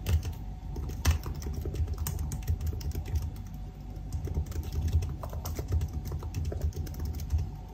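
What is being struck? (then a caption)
Laptop keyboard, plastic keys in aluminium body. Fingertips of both hands type continuously on the black plastic keys of a silver aluminium laptop keyboard. The result is a dense, steady stream of soft, low, thuddy key taps with brief bright clicks, each tap dying away almost at once.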